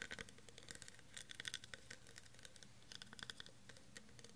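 Fingernails scratch and tap the ridges of a clear, faceted, textured plastic tumbler that is hollow and empty and held in one hand. The result is a quiet, rapid series of short, dry, bright clicks and scratches with almost no ring, over a faint low background hum.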